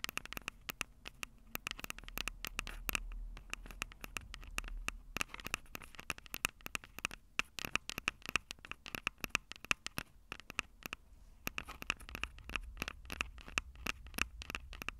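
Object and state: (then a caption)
Nail tapping and scratching on metal-mesh microphone capsules. Long purple nails tap and scratch the two small metal-mesh condenser capsules on top of a Tascam DR-05 handheld recorder with a black plastic body, the same recorder capturing the sound. Rapid, dense, dry clicks and scratchy rustles land close to the mics, bright with a tone near 2.6 kHz. A low rumble runs underneath.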